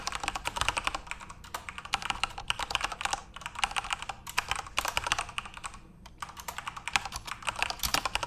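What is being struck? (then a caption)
Plastic mechanical keyboard. Continuous fingertip typing on a backlit plastic Corsair mechanical RGB keyboard produces rapid, bright, clicky keystrokes in dense bursts with brief pauses. Each click is crisp and dies away almost instantly, with very little low-end weight.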